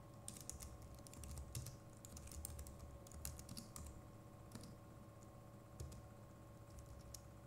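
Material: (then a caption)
Plastic. Fingertips of both hands type on the plastic keycaps of a compact Logitech MX Keys Mini keyboard, producing a steady stream of soft, bright key clicks over a low hum. The clicks come in quick irregular bursts with brief pauses throughout.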